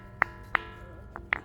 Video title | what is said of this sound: Ilhabela pedra do sino,realmente faz som de sino! | faz barulho barulho de sino e faz mesmo